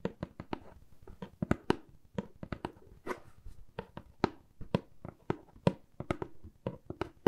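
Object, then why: Corrugated cardboard box. Long acrylic nails tap and scratch a hollow, medium brown corrugated cardboard box held in one hand. A quick, uneven series of short, dry, hollow taps with almost no ring is heard, with soft scratchy rustling filling the gaps between them.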